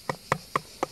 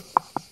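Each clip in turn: First: Four quick, hard hand taps on tile stop dead with no boom, so the tiling is solid. Second: Two short hand taps with a mid-pitched, papery knock: hollow tile, likely loose from the masonry behind.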